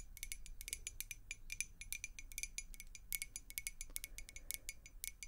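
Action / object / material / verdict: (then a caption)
tap / glass beer mug / glass / none. Long acrylic nails rapidly tap and scratch a clear, hollow glass beer mug with a handle, held in the hands and partly filled with water. A quick run of short, bright clinks rings around 2.2 kHz and dies almost at once, over a faint low rumble.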